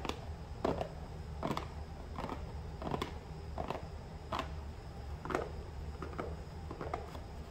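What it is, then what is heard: Small cardboard box, hollow. A small, hollow cardboard box lies on its side on a counter while fingertips and nails tap and scratch its flat top surface. The result is a series of soft, dull taps with short hollow resonance and brief scratchy streaks, all over a steady low background hum.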